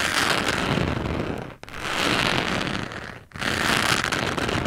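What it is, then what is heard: Cork coaster being scratched. A small white carving tool scratches and traces across the rough surface of a flat, solid, round cork coaster lying on a dark surface, held by a hand with long yellow-and-black nails. It makes a dense, continuous crackling scrape with a bright hiss. The sound comes in three long strokes, each separated by a brief drop to near silence.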